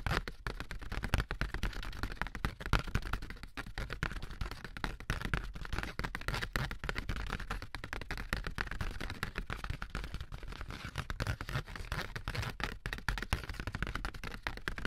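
A thin, light, handheld sheet of ribbed corrugated cardboard is tapped and scratched along its ribs with AA batteries worn as long nails. The result is a steady, dense stream of quick dry taps and raspy scratches with a dull low thud under them, each tap dying away almost at once.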